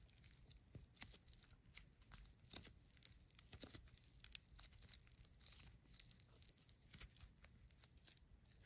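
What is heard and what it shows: A small, solid, soft lump of neon green floam (tiny polystyrene beads in slime) is squeezed, kneaded and rubbed between the fingertips and short nails of both hands. It makes a quiet, steady stream of dense, bright crackling and crunching with sharp little clicks and pops, over a faint low rumble.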